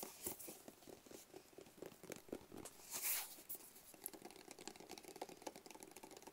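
A small, rigid, hollow black cardboard box is held in both hands and tapped quickly with fingertips and nails. The result is a quiet, rapid patter of short, dry, bright clicks with a soft, papery texture and a brief louder scratchy swell around the middle.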